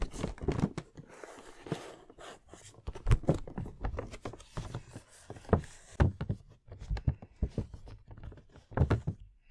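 fingertips and nails tap and scratch a medium printed cardboard action-figure box with a plastic window and the figure inside. A quick run of dull, low, hollow thunks with almost no ring comes through, with soft, dry scratching filling the gaps between taps.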